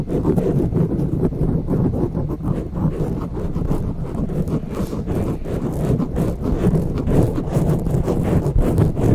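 Long nails scratch and grip a grey foam windscreen on a silver microphone with both hands. The result is a steady, dense, low, muffled rustling and thumping that stays fairly even throughout, with almost nothing bright on top.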